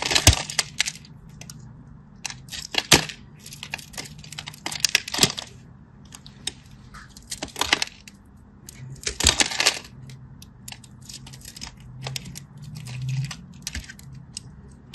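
A solid teal-and-white striped bar soap is cut into cubes with a craft knife. Bright, crisp scraping and crackling bursts repeat throughout as the blade scratches and cuts through the soap, over a faint low hum.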